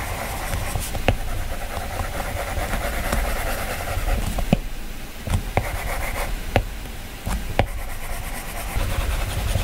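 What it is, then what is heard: Glass tablet touchscreen. A stylus scratches sketch strokes across a glass iPad touchscreen, making a steady, low, raspy rubbing sound. Six sharp, short taps stand out above it as the stylus strikes the color wheel on the screen.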